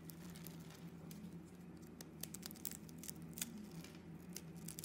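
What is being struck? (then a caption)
Bar of soap. A solid pink bar of soap with a wavy pre-scored surface is held in the hand and carved and scraped with a metal blade, with small chips breaking off. The result is a quiet run of short, crisp, bright scrapes and ticks with very little ring, over a steady low hum.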